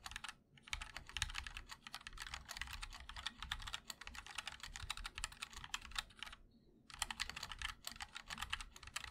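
Fingertips of both hands type continuously on a MOD-L 60% mechanical keyboard with linear switches, a black aluminum case and white and black ABS keycaps. The result is a rapid stream of short, bright clacks with a soft low thock beneath. Typing pauses briefly near the start and again around the six-and-a-half-second mark.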